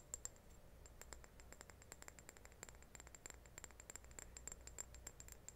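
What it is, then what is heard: Ceramic reed diffuser vase. A small, hollow, white glazed ceramic reed diffuser vase with wooden reeds inside is tilted and turned in the hands while its sides and base are tapped with long painted nails. Dozens of quick, light, clicky taps sound at a quiet level, each with a short bright, high ring, over a low, steady hum.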